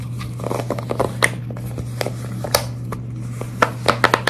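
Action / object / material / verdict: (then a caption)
tap / silicone pop-it fidget toy / silicone / none. Long red nails scratch and tap along the bubbles of a large silicone pop-it fidget toy, held up close and bent slightly. Soft, crinkly scratching runs under sharp, bright clicking taps that come in quick bursts near the end, over a steady low hum.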